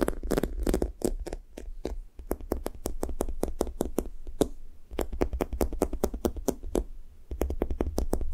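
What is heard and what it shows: Fingertips and long nails rapidly tap and press the sticky top of a thick, blue-topped foam squishy toast toy. Quick, dull taps with short, soft tacky clicks repeat in fast bursts with brief pauses between them. Each tap dies away almost at once, with no ring.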